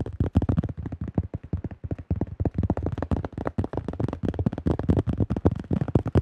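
Fingertips of both hands tap quickly on the thin shell of a yellow plastic disc golf disc with a blue stamp. The result is a rapid, uneven patter of short, dry, hollow thumps with a low, boomy body around 120 Hz. Each tap dies away almost instantly.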